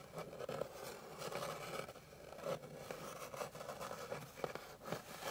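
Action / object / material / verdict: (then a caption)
scrape / flat wooden board scratched with fingernails / wood / none. Long pink nails scratch and rub across a flat, light, solid wooden board. The result is a steady, dry scraping texture with a mid-range tone around 500 Hz, broken by brief sharper ticks where the nails catch the grain.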